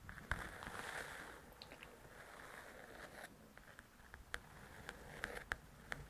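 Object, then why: Paperback book with paper cover. Long pointed nails scratch and tap on the paper cover of a large, thin paperback coloring book. A quiet, soft scratching hiss runs throughout, broken by short, sharp, clicky taps with a bright, papery edge. The taps come more often in the second half.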